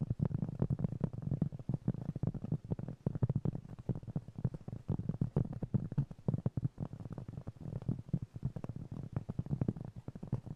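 A round, flat, solid cork trivet about 20 cm across, held in both hands, is tapped and scratched with fingertips and nails. The result is a dense, steady stream of quick, soft, muffled taps with a dull low body, each dying away almost instantly, mixed with faint scratching.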